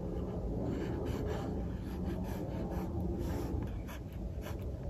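A mechanical pencil held in fingers scratches sketch strokes for a second figure on a paper sketchbook page resting on a desk. Steady, dry scratching with brief brighter bursts rides over a constant low rumble, continuing through the whole clip.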